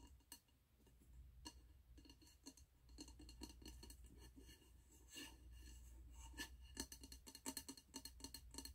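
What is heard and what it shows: Fingertips and nails tap the glass side and gold metal lid of a medium, wax-filled glass candle jar with a red label, held in the hands. The taps make short, bright clinks that die away almost instantly, scattered at first and then clustering into quick runs toward the end. A steady low hum runs underneath throughout.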